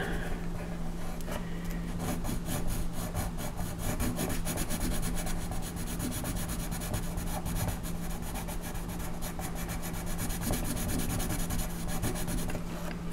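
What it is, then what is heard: Colored pencil shading on paper. A wooden colored pencil rubs across a flat coloring-book page of a horse lying on a table, the single sheet held down by the left hand, shading the tail in short strokes. Quick, steady scratchy rubbing strokes continue throughout over a constant low hum.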